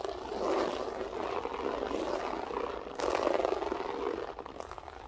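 Long acrylic nails with French tips scratch and rake the pile of a large, flat grey loop-pile berber carpet on a solid floor, using both hands. The result is a continuous, dense scratchy rustle centered in the midrange. It swells in one stretch, surges again with a louder rake around the three-second mark, then thins out toward the end.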